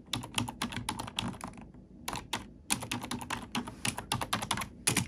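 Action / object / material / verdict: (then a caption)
tap / plastic computer keyboard / plastic / none. Fingertips and long nails tap and type on a black plastic computer keyboard, producing a quick run of bright, crisp clicks with a soft low thump under each keystroke. The typing pauses briefly just before the two-second mark, then resumes in the same steady, uneven rhythm.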